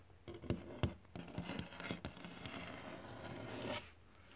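Fingertips tap and scratch across glossy varnished wood boards. Soft, dull knocks come at an uneven pace over a low, papery rasp, followed by a longer, brighter scratch that fades out.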